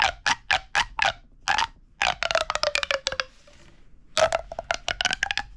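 A hollow red corrugated plastic pop tube is pulled and compressed between the fingers, making its ribbed sections pop and crackle. The result is a rapid series of sharp, bright, hollow pops with a short ringing tone around 640 Hz. In the middle, the tone slides slightly downward before a brief quiet scrape, and then the popping resumes.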